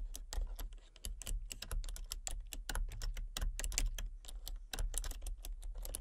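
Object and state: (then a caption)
Plastic computer keyboard being typed on. Fingertips with long painted nails type rapidly on a full-size backlit plastic RGB computer keyboard with hollow key switches and colour-cycling lights. The dense, clicky key taps have bright tops and short decays over a steady low hum.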